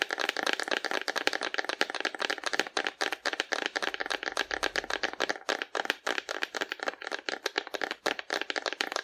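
Long nails tap and scratch quickly along the body of a hollow painted cardboard dinosaur held sideways in both hands. The result is a steady stream of dozens of dry, crisp clicks with scratchy rustling in between. The sound has no low end and a very short decay, with a bright, papery edge.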